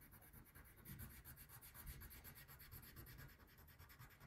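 A brown wax crayon is rubbed in small, quick strokes over the basket area of a thin printed paper coloring page lying flat on a table. The result is a steady, soft scratchy rasp with a low rumble underneath and a faint high hiss pulsing with each stroke.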